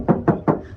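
Three quick knocks on a painted steel body panel of a used, raised Toyota Vigo pickup give short, clear, airy thuds centred low to mid, with a brief ring that fades fast. The sound is not dull or muffled, indicating thin original factory paint rather than thick body filler.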